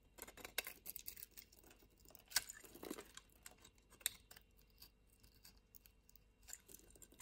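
A solid white soap bar is cut and scraped with a yellow-handled utility-knife blade, white crumbs falling away. Quiet, dry, bright scraping and crisp crunching clicks come at an irregular pace, with sharp short snaps standing out.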